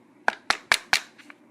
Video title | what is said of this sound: This is a review on the TSd SD702 airsoft sniper rifle | you can hear that it sounds quite stable